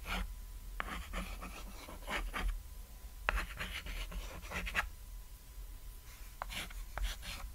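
A white chalk stick draws short strokes on a flat, solid cat-shaped chalkboard made of painted board, writing and scratching across the surface. Bursts of dry, bright rasping alternate with brief sharp clicks as the chalk strikes and drags, over a low steady hum and a faint constant tone.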